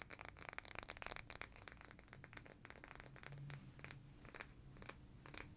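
A blue frosted glass sake bottle is tapped rapidly with fingernails along its glass body. The result is quick, bright clicking taps with a glassy, high-pitched ring. The tapping is dense at first and then thins into sparser bursts.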